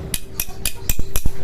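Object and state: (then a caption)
Solid steel blade. A solid, dense steel blade is struck five times in quick succession, each hit giving a short, bright metallic clank over a low thud that dies away almost at once. A faint steady hum runs underneath. Its tone differs from the hollow blade it is being compared against.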